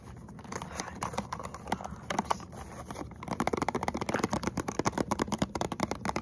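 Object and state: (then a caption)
Cardboard box with contents. A small printed cardboard box with a clear plastic window, holding a hot chocolate bomb, is held in both hands and tapped and scratched with short fingernails and fingertips. Soft, papery scratching with occasional taps fills the first three seconds. A quicker run of crisp, dry taps with almost no ring follows.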